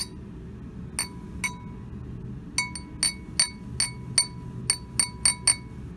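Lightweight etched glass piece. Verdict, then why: Non-flint. A lightweight etched glass piece made without flint is gently pinged 12 times at uneven intervals. Each strike gives a short, dull, high clink that dies away almost at once rather than ringing on, a poor ring that the etching may contribute to. A low steady hum runs underneath.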